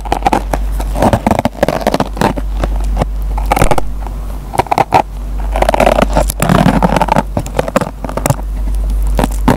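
A metal pen tip plucks and scratches the fibers of a dry kitchen sponge with a green nylon scouring pad, giving a dense run of crackly scratches and sharp plucked snaps. The bursts cluster and overlap with short gaps between them, over a steady low hum.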